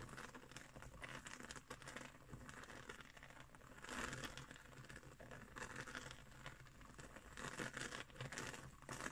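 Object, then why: Woven straw trivet. A round, flat woven straw trivet is scratched and tapped with long green nails. Dry, crinkly scratching and soft, rapid taps run continuously, with brief brighter swells of rasping texture over a quiet low rumble.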